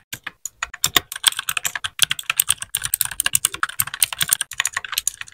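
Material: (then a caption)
Plastic. A small white 60% mechanical keyboard with plastic keycaps and RGB backlight is typed on with the fingertips of both hands in continuous keypresses. About forty short, bright, clacky key strikes come in quick irregular succession, each dying away almost instantly with very little low end.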